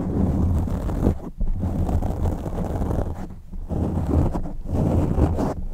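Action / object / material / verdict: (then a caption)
scrape / foam microphone windscreen / foam / none. Fingertips and short nails gently scratch and rub the soft, porous black foam windscreen fitted over a white USB condenser microphone. The result is a close, muffled, low rumbling rustle with almost no high content, broken by brief quieter dips before the scratching resumes.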